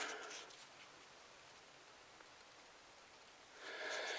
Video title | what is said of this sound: Shed wars! Easy seeds to save. | you can actually hear there's seed rattling inside